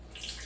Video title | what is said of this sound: Chefboyarkeese cooking fried fish | You hear that sizzle? That's how you know that grease ready to fry